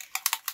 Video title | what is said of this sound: "All About Ink" Video Tutorial | You can hear the little bead in there shaking it up.